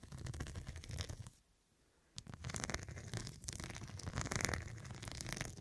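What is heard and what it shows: Fingertips and long nails scratch and tap the square faceted glass studs covering a soft, filled, medium fabric cushion. Dense, crackly scratching with a low rumbling body breaks off into near silence for under a second, then resumes with sharp bright taps and continued rough scratching.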